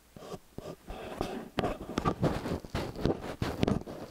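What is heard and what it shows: Fingernails tap and scratch the rims of small metal XY stereo microphone capsules with hollow metal housings. It makes close, dull, low-heavy thumps and scratchy rubs in quick uneven bursts, each dying away at once with no ring.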